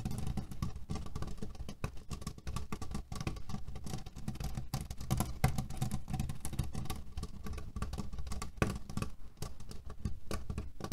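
Fingernails scratch and tap quickly on a cotton cushion filled with cherry pits. The result is a dense, continuous, low-heavy rustling patter, with soft, short taps scattered throughout and little bright content.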